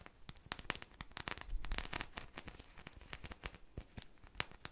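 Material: Polyurethane foam.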